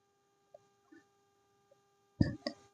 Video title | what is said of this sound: How to make peanut laddu recipe 😋#palli luddu recipe in Telugu#sweet #healthy sweet recipe s | bowl కి కొడుతుంటే టక్ టక్ మని సౌండ్ వస్తుంది